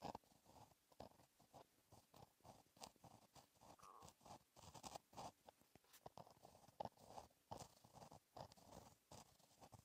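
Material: Paper.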